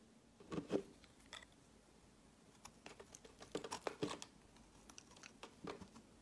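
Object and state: Bar of soap being cut and scraped.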